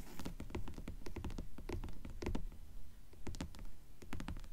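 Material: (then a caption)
Board. Long nails tap and scratch the cloth/paper board cover of a solid dark grey hardcover book propped partly open with its cover up. The result is a quick, uneven patter of soft, dull taps with brief scratchy strokes that die away almost instantly.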